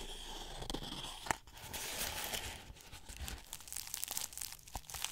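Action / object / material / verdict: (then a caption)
scrape / straw broom head / straw / none. Long red-painted nails scratch and rub along the black-dyed straw bristles of a small decorative witch's broom held up close in both hands. The result is a steady, dry, crunchy crinkling and tearing rustle with a bright, scratchy edge, broken by one sharp snap early on.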